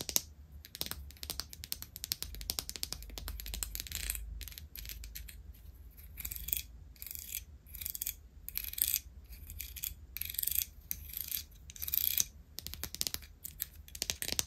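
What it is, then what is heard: Wooden comb. Long acrylic nails tap and scratch along the teeth and body of a small, flat, wide-tooth comb of solid light wood with a printed logo, held up in both hands. The result is rapid, dry, bright clicks that sound like keyboard typing, coming in dense bursts with brief gaps over a faint low hum.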